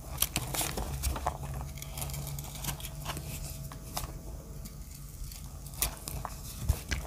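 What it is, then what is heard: Dry soap shaved with a blade. A solid grey heart-shaped dry soap with teal chips is held in the hand while its edge is shaved with a small metal blade. The blade makes crisp, dry scraping and cutting sounds with sharp bright clicks, over a steady low hum.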